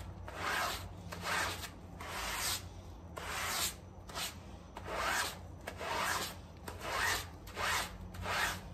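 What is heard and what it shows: A small, wet, muddy fabric doormat covered in soapy foam is held down with one gloved hand while the other scrubs it with a green sponge or brush. Ten rough, rasping strokes come in a loose back-and-forth rhythm, each a bright, wet, hissing scrape over a low, steady background hum.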